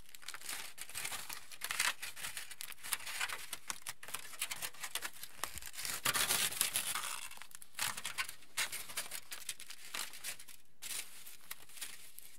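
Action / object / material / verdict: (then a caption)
scrape / aluminium foil sheet / aluminium foil / none. A large, thick, crinkled aluminium foil sheet, thin and flexible, is held and pressed by fingertips that crinkle and scratch its surface. The result is continuous bright, dense crackling and rustling, with a louder burst of crinkling around the middle of the clip before it settles back to steady scratchy rustling.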